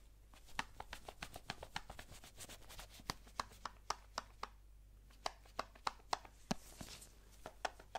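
Gloved fingertips tap and handle a small, hollow, rectangular white cardboard Apple product box. The result is a quick, irregular run of short, dry, bright taps that die away almost instantly, with faint rustling between them and a low steady hum underneath.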